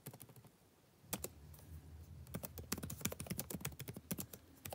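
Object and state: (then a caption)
Plastic laptop keyboard. Fingertips type continuously on a backlit laptop keyboard with plastic keys, producing quick, bright, clicky taps over a soft low thump. A short typing burst gives way to a near-silent pause around the first second, then steady typing resumes with crisp, dry key strikes that fade almost instantly.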